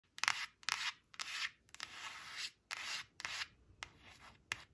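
Long acrylic nails trace and scratch across the glossy surface of a thin, flat, solid laminated cardstock flash card printed with "8 eight," lying on a woven fabric tablecloth. Eight bright, hissy scraping strokes of uneven length are heard, separated by brief silences, with almost no low end.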